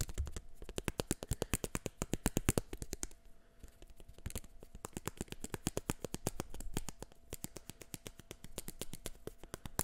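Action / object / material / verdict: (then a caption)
tap / plastic eyeglass frame / plastic / none. Fingertips and nails rapidly tap and flick the frame of a pair of black plastic eyeglasses held by the arms close to the microphone. The result is a long, steady stream of sharp, dry clicks with almost no ring, some louder and brighter than others, over a faint low hum.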